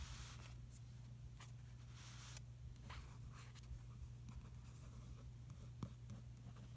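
A fingertip traces across the Finaflex ad page of an open glossy paper magazine lying on a carpet, staying on the same spread throughout. Faint, bright swishing strokes and light papery brushes come and go over a steady low hum, all at a very quiet level.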